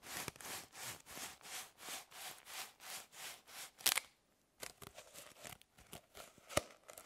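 A bundle of hollow plastic drinking straws is twisted and rubbed in the hands, giving about nine steady, bright, hissing swishes that end in a louder crackle. After a brief pause, irregular light clicks and crinkles follow, with one sharp snap near the end.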